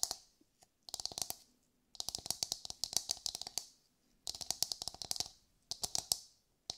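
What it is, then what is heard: Coconut shell tapped with fingernails. A brown coconut shell, likely hollow, is held in the hands and tapped and scratched with long white nails. The sound comes in five quick bursts of sharp, bright clicking taps, each carrying a faint hollow tone and separated by brief silences. Every tap dies away almost instantly, leaving crisp, dry, high-pitched clatter with almost no low end.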